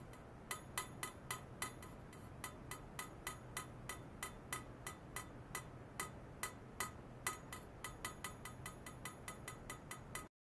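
A long, polished stainless steel pipe about 40 cm long, likely hollow, lies horizontally on a lab bench, resting at both ends in white foam netting sleeves with a cable attached at one end. A signal generator and a waveform monitor sit nearby. It is tapped repeatedly with a thin metal rod, producing a steady series of bright, metallic clinks with a short ring around 1.3 kHz over a constant low hum.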